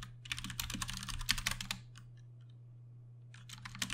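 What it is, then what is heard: Plastic mechanical keyboard. Steady fingertip typing on a Ducky One 2 Mini, a 60% mechanical keyboard with Cherry MX Brown switches and plastic keycaps. Quick, bright clacking keystrokes run for nearly two seconds, thin to a few isolated taps during a pause, then pick up again near the end. A steady low hum sits underneath throughout.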